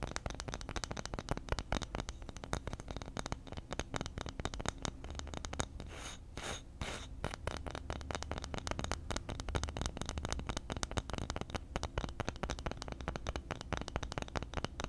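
A flat, round, solid bamboo or light wood disc about the size of a palm is held in both hands just behind a foam-covered microphone while fingertips and nails scratch and rub its surface and edge. The result is a dense, continuous stream of quick, dry scratches with a heavy low rumble, easing into a smoother rubbing patch near the middle before the fast scratching resumes.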